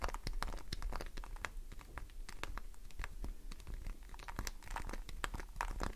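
Long nails scratch the grooved face of a solid green glycerin soap bar held in the hand, with a pile of shavings below. The scratching is a steady run of quick, crisp, crackly strokes, each a short bright click with very little ring, over a low, dull rumble.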